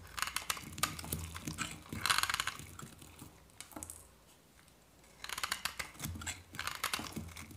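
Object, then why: Soap bar scraped with a metal blade. A hand-held solid white dry soap bar is scraped and shaved with a metal knife blade, with flakes curling off. Dense, bright, crisp scraping and crunching comes in bursts, eases to a quiet pause around the middle, then resumes with rapid rasping strokes.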